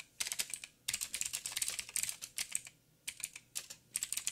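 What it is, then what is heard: Mechanical keyboard with plastic keycaps. A backlit mechanical keyboard with black plastic keycaps on a silver frame and a hollow housing is typed on with the fingertips of both hands. Bursts of quick, dry, bright clicks come in uneven runs separated by short pauses, each tap stopping almost instantly with almost no low end.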